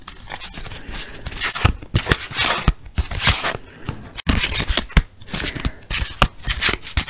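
A small deck of paper playing cards with a red patterned back is held in both hands and riffled and shuffled with the fingertips. Rapid papery flutters and sharp card snaps come in uneven bursts, each with a bright, crisp hiss and a short dull thump underneath. The sounds stop dead between bursts.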